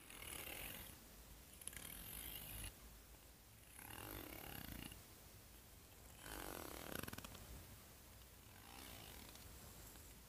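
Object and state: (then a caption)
Plastic hair comb. Long fingernails strum and scratch along the teeth of a solid, hand-sized plastic hair comb held up in the air. Bursts of dry, raspy clicking with a bright, hissy edge alternate with quieter pauses.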